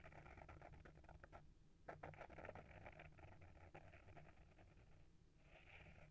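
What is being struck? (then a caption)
Small hardcover book with paper-wrapped board cover. Short fingernails scratch the front cover of a small, solid hardcover book with a paper-wrapped board cover, held in hand. The result is a quiet, dry, papery scratching in quick bursts, with brief pauses before it resumes, over a steady low hum.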